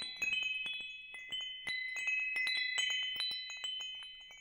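A hanging wind chime with hollow metal tubes is held up and swayed so the tubes strike and ring. Irregular bright, overlapping clinks build into sustained high tones centered near 3 kHz. Each strike rings on for over a second with almost no low end.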